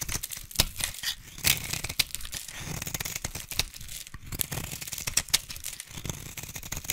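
A utility knife blade shaves and scrapes curls off a solid, hand-sized orange bar of soap held in one hand with long pink nails. The result is a dense run of bright, crisp scraping and crackling strokes with short, dry tearing bursts and almost no ring.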